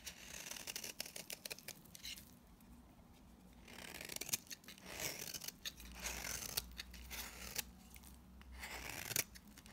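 A utility knife blade scrapes along the face and edge of a solid, very dry pink bar of soap held in the hand, shaving off dry powdery flakes. Crisp, bright scratchy bursts come in clusters of quick strokes separated by short quiet pauses, with little low-end.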